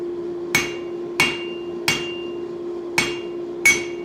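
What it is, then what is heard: Steel anvil with ring damped by foam. A hammer taps a steel anvil five times; the anvil rests on a wooden stump and has an area filled with foam. Each tap gives a bright, high-pitched clink that dies quickly, showing much of the anvil's ring is gone though a little remains. A steady low tone continues underneath.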